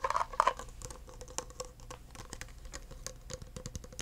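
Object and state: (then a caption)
Clear plastic cup. Fingertips tap the sides, rim and base of an empty clear plastic cup, producing a quick run of soft, dry taps and light scratches. Two louder clusters at the start ring briefly around 1 kHz with a faint steady tone near 500 Hz. Quieter, even pattering follows for the rest of the clip.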